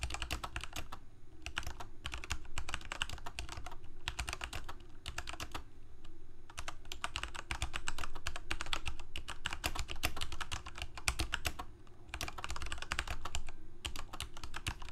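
Both hands type rapidly with their fingertips on a full-size black plastic Corsair K68 mechanical keyboard with Cherry MX Red switches and blue backlit keycaps, resting on a white desk. Fast, irregular bursts of short, crisp key clacks come in flurries, with brief pauses between them. A steady low hum runs underneath throughout.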